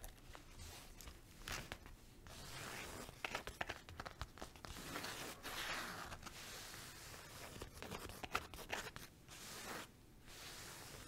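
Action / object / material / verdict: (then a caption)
scrape / woven fabric zip pouch / woven fabric / none. Long nails quickly scratch and tap a flat green and pink woven fabric zip pouch with a tassel, held on the palm. The result is a steady run of dry, rough scratching broken by sharp, crisp taps, with bright, hissy texture and little low end.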